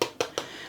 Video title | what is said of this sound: Smutek po świętach, chleb na zakwasie i zając na choince. | you can hear these hollow sounds here